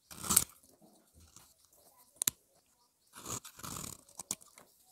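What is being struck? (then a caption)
Bar of soap. A solid, round, pale peach bar of dry soap held in the fingers is scraped and shaved with the edge of a utility-knife blade, carving a hollow into the bar. Crisp, bright, dry scraping and crunching bursts come with short sharp clicks and quiet pauses between them. Fine soap powder and flakes come off the bar.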